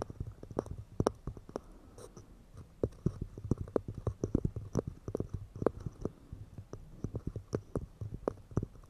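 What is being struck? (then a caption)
Pine wood cups. Fingers tap quickly and delicately on pine wood cups, producing a rapid, irregular stream of soft, dry knocks. Each tap is a short, low woody thud with a faint click on top and no ring, with no speech.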